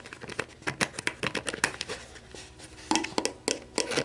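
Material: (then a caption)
Plastic. Long black nails scratch and rub an empty, hollow clear plastic sports drink bottle with an orange cap lying on a table, working over the bottle body, the cap and the label. Quick, bright crinkly scratches and clicks come in rapid bursts, ease into a softer rubbing stretch midway, then return as sharper, louder taps.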